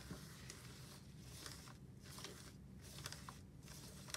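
Gloved fingertips wipe a cloth wipe over a black plastic office desk phone base with a screen and keypad, pressing over the buttons. Soft, bright scratchy swishes and faint crinkly clicks come in short bursts over a steady low hum.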